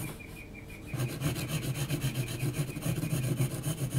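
An HB graphite pencil is scratched in hatching strokes across a large, flat sheet of heavy textured mixed-media paper. After a quiet first second, a steady series of raspy, rubbing strokes follows at roughly three to four per second, each a short, dry scratch with a low, dull body and a faint bright hiss.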